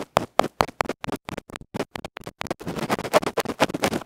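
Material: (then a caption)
Felt. A bamboo ear pick scratches the felt face of a small electret microphone capsule, a metal can with a felt cover, held in the fingers. Quick, sharp scratchy strokes come in separate bursts at first, then speed up into dense, almost continuous rough scraping that is loud, close and bright.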